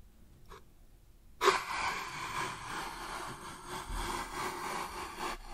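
Fingertips and nails scratch and rub the surface of a hollow, medium brown wooden box with a hinged lid and a compartmented interior, held close to the microphone; the lid opens and the compartments are mostly empty. After a faint tap and near-silence, a sharp contact at about 1.4 seconds starts a steady, bright, dry scratching and rubbing texture that lasts to the end.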